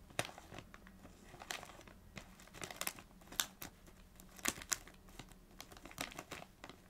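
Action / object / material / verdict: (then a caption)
scrape / plastic foil snack bag / plastic foil / none. Long nails tap, scratch and crinkle a small red Doritos foil-plastic snack bag full of chips. The result is soft, crisp crinkling with sharp, bright ticks and taps scattered through quiet, hissy scratching.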